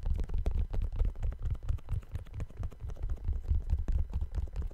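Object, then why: Suede sneaker. A single empty brown suede low-top sneaker with white laces and a white rubber sole is held in both hands close to the mic while fingertips with painted nails tap its upper. The taps come as a fast, uneven stream of soft, dull, deep thuds with almost no ring and nothing bright.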